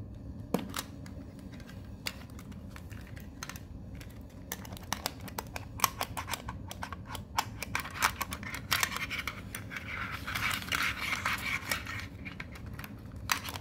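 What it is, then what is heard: Metal card tin. A small, hollow metal Pokemon card tin with cards inside is turned over in the hands while fingernails tap and scratch its sides and edges. The result is a dense run of sharp, bright metallic clicks and taps that die away almost instantly over a low, steady background. A brighter stretch of scratching builds toward the end.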